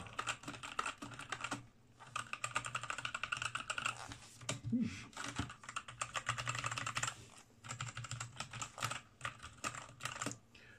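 Both hands type with their fingertips on a full-size black ROCCAT R65 mechanical gaming keyboard with black plastic keycaps, resting on a wooden desk. Rapid bursts of crisp, clacky keystrokes come in quick runs separated by brief pauses, with bright clicks over a low, hollow thock.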